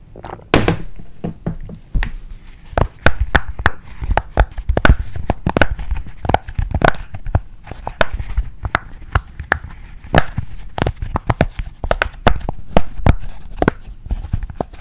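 A heart-shaped rainbow silicone push-pop fidget toy with bubbles is tapped, pressed and scratched with fingertips and nails. The result is a steady run of dull, low, short thunks and soft pops with faint scratchy rustling between them, lasting about 15 seconds.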